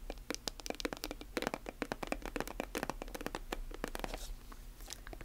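Long nails tap and scratch along the surface of a silver metallic plastic lotion tube, held horizontally and then vertically. The result is a quick, uneven stream of short, dry clicks and crinkly scrapes with bright edges, over a steady low hum.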